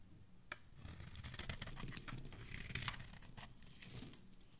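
A dark metal blade cuts and scrapes into a solid teal bar of soap held in the hand, peeling off shavings. The sound is a steady run of soft, crisp scraping and crackling with bright little ticks and snaps over a low, muffled rustle.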